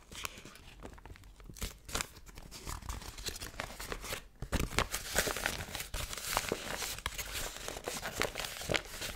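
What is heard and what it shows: A thin yellow crinkly paper sheet, possibly formed into a pouch, is held in both hands and crinkled and crumpled with fingertips and long painted nails. Dense, bright crackling and rustling comes in quick sharp bursts with no ring-out, growing louder and busier after a brief pause about halfway through.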